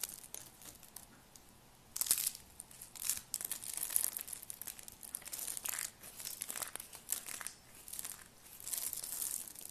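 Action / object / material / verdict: scrape / soap curl strip / soap / none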